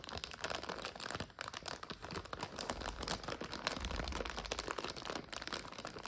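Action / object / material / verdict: scrape / plastic bag of dry egg noodles / plastic / none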